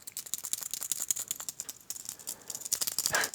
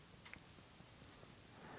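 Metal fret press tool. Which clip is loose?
The first.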